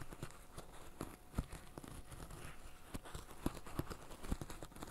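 Fingertips in black fishnet gloves press and pop the hollow bubbles of a flat green silicone bird-shaped pop-it fidget toy. The result is a string of soft, dull, low pops with a few sharper snaps standing out over a quiet rustling bed.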